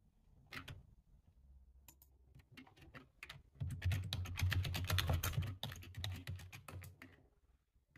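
Fingertips of both hands type on a full-size black plastic computer keyboard, producing irregular bursts of bright, sharp key clicks over a steady low hum. The typing starts sparse, grows dense and loud through the middle of the clip, then thins out again toward the end.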